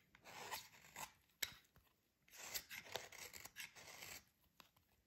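A metal utility blade quickly rasps and scrapes the surface of a solid, dry, yellow oval soap bar held in the hands. The result is bursts of bright, gritty scraping with sharp clicks of the blade between passes, and almost no low end.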